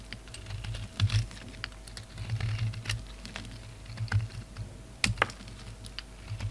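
A utility knife blade shaves and scrapes a solid red, black and white bar of soap. Rapid, short, crisp ticks and small scraping cuts sound over a steady low hum, with a few sharper, brighter snaps near the end.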